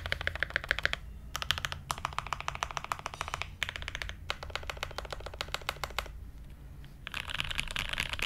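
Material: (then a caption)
Brass, ABS plastic. Both hands type with their fingertips on an SG81M mechanical keyboard with Everglide Aqua King switches, blue ABS keycaps and a brass plate. Rapid bursts of crisp, bright key clacks come in quick runs separated by short pauses, over a low, steady rumble. The clip ends with a softer, more blurred stretch of key noise.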